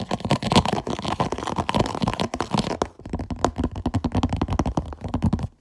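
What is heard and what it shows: Fingernails scratch and tap quickly across the ribbed lid of a clear plastic food container with an orange lid and an orange "PUSH" vent button. A dense run of close, dry scratches and short taps with a thumpy low body continues, dips briefly near the three-second mark, then resumes and stops abruptly before the end.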